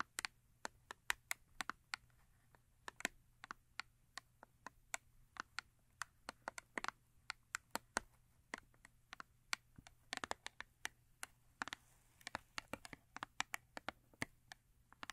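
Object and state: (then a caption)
Cardboard soap box tapped with nails. Long acrylic nails tap and scratch the top of a small printed paperboard Yardley soap box resting on fur, producing a rapid, irregular stream of sharp, dry, bright clicks with almost no ring. Faint scratching fills the gaps, and near the end the box is picked up and held.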